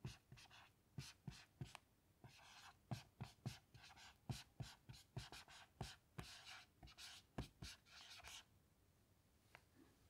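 A black dry-erase marker writes lines of text on a small melamine lap whiteboard lying flat, with a hand with long patterned nails resting on the board. Quick taps and short, bright squeaky strokes repeat at an uneven pace, each with a soft low thump from the board. The sound is quiet and close, and each stroke dies away almost at once.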